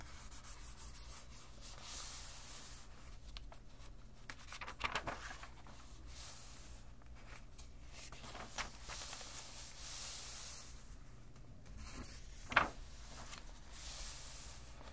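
Flat hands and fingertips rub and smooth the thick paper pages of an open junk journal while turning them. Quiet, steady papery swishing and hissy rubbing runs throughout over a faint low hum, broken by a few short, crisp crackles as pages shift and turn.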